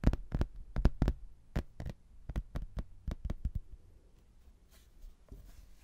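A thin, solid, laminated hardboard placemat with a cork backing and a castle picture is held up and tapped with fingernails and fingertips, producing a quick, irregular run of dry, sharp clicks with a dull low thump beneath each that dies away almost instantly. The tapping then gives way to soft, hissy fingernail scratching across the surface.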